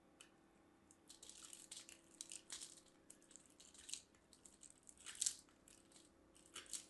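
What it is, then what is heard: Soap bar grated on a metal grater. A mint-green and white striped solid soap bar is rubbed against a small handheld stainless steel box grater by a hand with long dark nails, producing soap shavings. Quiet, bright, crisp scraping strokes come in irregular bursts, with the loudest rasp near the five-second mark over a faint low hum.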